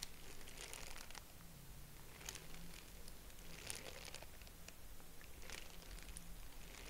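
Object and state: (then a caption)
Tissue paper honeycomb decoration crinkling. A small purple tissue-paper honeycomb decoration with hollow expandable cells is held in both hands and stretched and squeezed with the fingers. It gives soft, dry crinkling in short bursts over a quiet, steady low hum.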